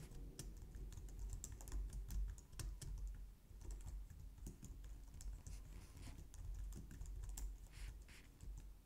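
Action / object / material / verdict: tap / plastic computer keyboard / plastic / none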